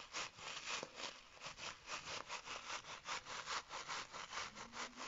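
Fingertips and short nails scratch and squeeze a small, soft, fabric-covered, baseball-style hacky sack with a stitched white cover and a printed face, filled with beads. Bright, dry rasping strokes repeat in a loose back-and-forth rhythm, about two or three per second, each swelling and fading quickly with a faint bead rustle underneath.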